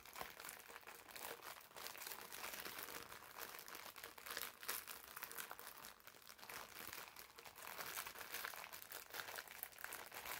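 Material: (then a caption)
Plastic film. A green foam bath sponge sealed in clear, labeled plastic film is held in both hands, squeezed and crinkled with the fingertips. The result is a steady, dense stream of quiet, bright crinkling and crunching from the film, with almost no low end.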